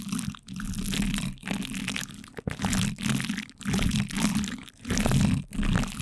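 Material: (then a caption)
Plastic film. Two light-blue plastic spoons press and scrape from both sides on plastic cling film wrapped over a microphone's metal mesh grille. The result is close, muffled crinkling and crunching, heavy in the low end, rising and falling in swells separated by brief near-silent gaps.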